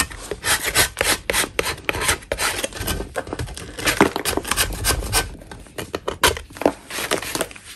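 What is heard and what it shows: A gloved hand scrapes a flat solid chalk block with a metal putty knife, piling up dust. Repeated short, dry, rasping strokes run throughout, each a bright gritty scrape with little ring.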